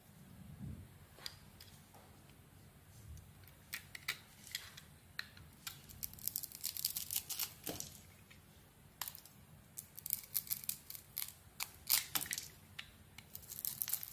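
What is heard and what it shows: A handheld solid pink oval soap bar with glitter and an embossed brand name has its outer layer shaved with a utility knife blade to reveal a white core. Many short, crisp, bright scraping strokes come in quick irregular bursts, each dying away almost instantly, over a faint low hum. The sound is quiet overall, with denser clusters of strokes toward the middle and end.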